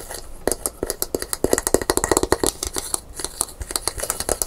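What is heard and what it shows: Long pink nails quickly tap and scratch along the smooth handle of a brown painted gourd maraca held by its hollow body. About thirty rapid, short, dry clicks with bright high tones are heard, some carrying a hollow midrange ring around 390 Hz, with faint scratching between them.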